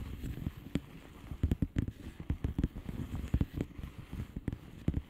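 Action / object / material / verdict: tap / plastic bubble wrap envelope / plastic / none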